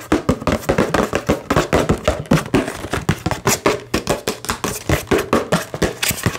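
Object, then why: Small cardboard box with plastic window. Fingertips and nails rapidly tap and scratch a small, hollow cardboard retail box for an Xbox controller, printed in red and green with a clear plastic window, held in both hands. Over thirty quick, hollow, papery taps sound in a steady run, each with a low thump and a short, dry decay mixed with scratchy rustle.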